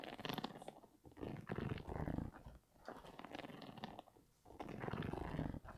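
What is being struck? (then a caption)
Sneaker with knit upper and rubber sole. Fingers and nails scratch the sole and Primeknit upper of an empty grey Yeezy 350 V2 sneaker with an orange stripe and a rubber-encased sole, held up. The result is dense bursts of low, muffled scratching and rubbing, separated by brief quieter pauses.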